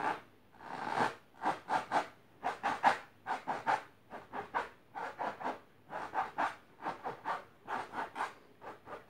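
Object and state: Fabric-covered box, scratched.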